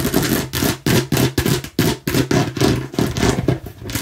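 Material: Plastic.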